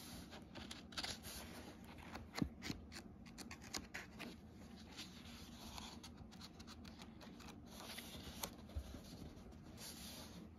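Pages of an open hardcover book are flipped by hand while fingertips rub and smooth across the paper. Soft, dry rustles and brief crisp flicks of paper come one after another over a steady low hum, quiet and close throughout.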